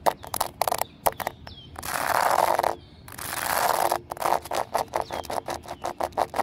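Fingernails tap and scratch across a flat, solid exposed-aggregate pavement of small pebbles set in concrete. Bursts of sharp, dry clicks alternate with two longer, steady scratching passes that carry a bright rasp over a midrange body.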